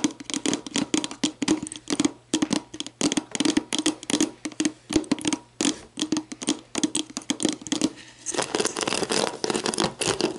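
Long black nails tap and scratch the ridged, hollow bottom of an empty clear plastic sports drink bottle. Quick, dry clicks with a hollow tone come in rapid bursts, then the last couple of seconds turn into a denser, continuous scratching.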